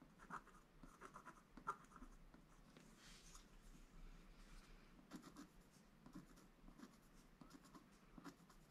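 A wooden stylus scratches small details into a flat, black-coated scratch art paper board page. Quiet, dry scratching and short ticking strokes continue throughout, with a couple of sharper clicks early on and a softer, longer swishing stroke in the middle.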